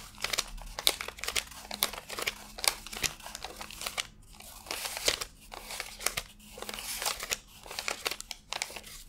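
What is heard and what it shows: Fingertips rub and flick through a fanned stack of thin cotton-paper $100 bills while counting them by hand. A rapid run of dry, bright crinkles, rustles and sharp papery snaps rises and falls in short bursts over a faint steady low hum.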